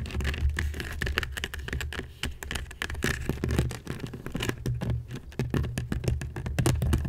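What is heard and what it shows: A hollow woven seagrass basket of natural fiber is scratched quickly with the long nails of both hands. The result is a dense, continuous patter of rapid dry scratches and clicks over a heavy, boomy low rumble, with short bright crackles on top.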